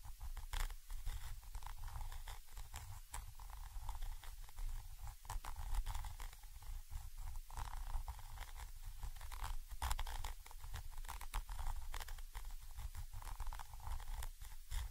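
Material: Metal.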